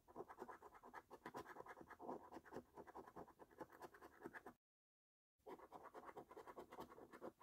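A metal coin's edge, held in the fingers, scrapes the scratch-off coating from the lower rows of a flat paper lottery scratch card while the other hand steadies it. Rapid, uneven, dry scraping strokes sit mainly in the midrange. They pause completely for just under a second before resuming.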